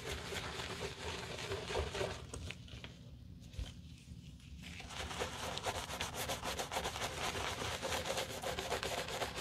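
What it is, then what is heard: Leather shoe being scrubbed with a brush. A black leather shoe covered in soap foam, held in a black-gloved hand, is scrubbed with a wooden-handled bristle brush. Quick, rhythmic scratchy brushing strokes, about four per second, have a bright, hissy texture over a low rumble. The scrubbing briefly softens and nearly stops midway, then resumes steadily.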